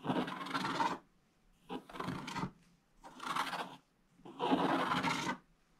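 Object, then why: Scratch-art paper scraped with a wooden stylus. A wooden stylus scratches long strips of black coating off a flat scratch-art book page, exposing the gold foil beneath and leaving flakes on the page. Several separate strokes produce a dry, raspy scratching with a bright, papery texture, each lasting about a second with brief silences between.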